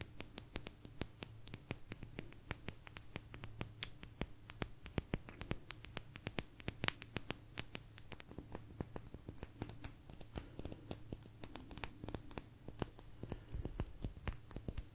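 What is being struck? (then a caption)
Thin agate stone slice. Long nails tap and scratch a small, thin, solid blue agate slice, making a quiet, rapid stream of sharp, dry clicks with bright edges and scratchy texture. Each tap dies away almost instantly over a faint, steady low hum.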